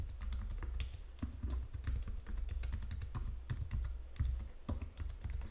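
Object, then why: Plastic computer keyboard. Long fingernails tap the number-pad keys and the lower edge of a white plastic Logitech full-size keyboard. A quick, irregular run of short, bright plastic clicks sounds over a low, steady hum. The taps stop dead with almost no ring.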